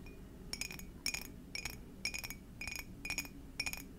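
An empty, hollow clear glass mug with a Garfield print is tapped with long dark nails. Seven quick bursts of bright, high clinks arrive about every half second over a steady low background hum, and each burst fades almost immediately.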